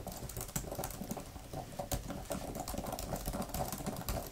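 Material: Plastic.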